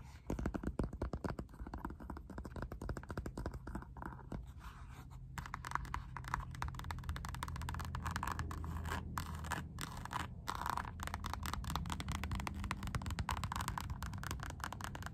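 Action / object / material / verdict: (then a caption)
scrape / rubber slide sandal strap / rubber / none. Long nails tap and scratch along the textured synthetic rubber strap of a black Puma slide sandal. The result is a dense, rapid run of dry, close scratches and soft taps with a heavy low thump beneath a raspy midrange edge. The sound stops dead with no ring and grows slightly fuller and more continuous partway through.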